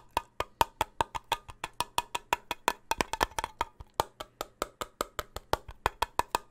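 A closed, full steel soup can with a red and white label is held near the microphone and tapped with fingertips on its metal rim and lid. About 33 quick, dry, woodblock-like taps come in a steady patter, each ringing briefly at a hollow tone near 920 Hz with bright clicky edges.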